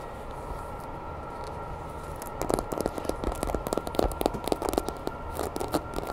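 A grey hollow vinyl Godzilla toy figure is held in both hands while long nails tap and scratch its body, tail and spines. After about two seconds of quiet steady hum, a rapid run of short, dry, clicky taps and scratches begins, each dying away almost instantly over a faint constant tone.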